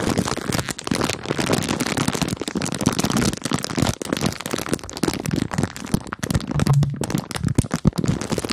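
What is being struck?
Plastic bag of marshmallows.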